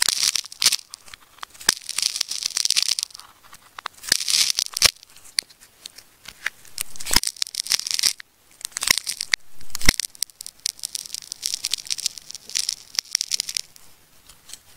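Fingertips hold a solid yellow and teal ball of layered, wound plastic tape while a metal craft knife slices into the layers. Bursts of bright, crackly tearing and scratching alternate with sharp clicks and short pauses as the blade cuts through the tape.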